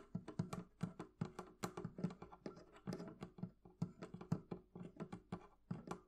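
Long nails tap and flick a small metal hasp latch on a hollow wooden barrel chest with one hand. The result is a quick, uneven run of quiet, short clicks and knocks over a low, hollow resonance, each dying away almost at once.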